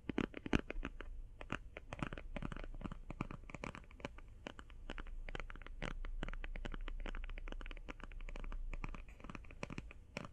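Long painted fingernails tap quickly on a closed, flat, rectangular, hand-sized cardboard eyeshadow palette. The taps are short, dry and hollow, coming in a rapid, uneven patter with a faint scratchy edge over a low steady rumble.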